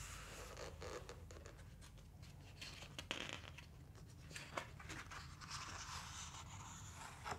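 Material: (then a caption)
Glossy paper. Fingertips rub across the glossy paper pages of a large open book, then the hands lift, flip a page over and smooth it down. The result is quiet, dry, scratchy rubbing with a few sharper, crisp papery snaps over a steady low hum.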